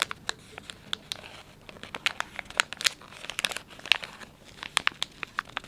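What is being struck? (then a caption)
Soft plastic film wet-wipes pouch. Thumbs press, bend and crinkle the soft plastic film of a palm-sized, filled Dettol wet wipes pouch. The result is a quick run of sharp, bright crinkles and snaps over a faint, steady rustle, each crackle dying away almost instantly with almost no low end.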